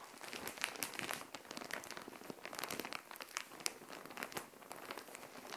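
Long nails scratch and tap across a plastic Shein mailer bag filled with clothing, lying flat on a tile floor. The result is a steady, bright crinkling and scratching, with many quick, sharp taps and almost no low end.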